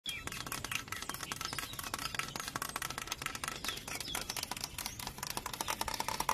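Fingertips and nails tap fast on a large, hollow, dry yellow bamboo culm growing in a clump. The result is a steady stream of quick, bright, clicky knocks with a faint hollow tone near 1 kHz, each dying away almost at once.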